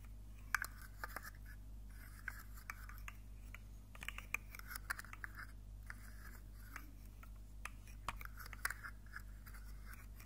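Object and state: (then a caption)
Plastic fidget slug toy. A rainbow segmented plastic articulated fidget slug with hollow jointed segments is held up in one hand and wiggled. Its segments make a rapid series of short, sharp clicks and soft scrapes, bright and dry with almost no ring. A steady low hum runs underneath throughout.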